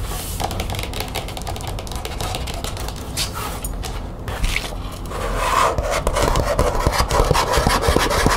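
Long nails scratch and rub along the surface of a thin green matte plastic folder with metal grommets, making a steady, dry rasping scrape. After about five seconds the scratching grows louder and brighter, with quick, uneven strokes continuing to the end.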